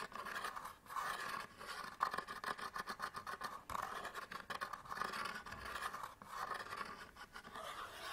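Fingernails scratch the front of a small SanDisk memory card package held in the hands, a cardboard pack with a plastic window. The sound is a quiet, continuous dry scraping made of rapid, uneven strokes, centered in the mid range around 1 kHz with almost no low end.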